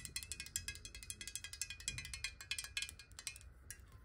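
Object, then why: Glass bottle partly filled with water. A clear, hollow square glass bottle, partly filled with water and tilted in the hands, is tapped rapidly with long nails. About 27 quick, bright clicks land in an uneven rhythm, each dying away almost at once over a faint low rumble.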